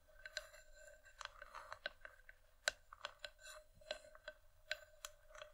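Long painted nails on both hands tap and scratch the outer rim and sides of a medium, empty, hollow, polished wooden bowl resting on a dark velvet cloth. About 14 quiet, sharp, irregular clicks and taps stand out between soft scratchy brushing, each with a bright, hollow knock that dies away almost at once.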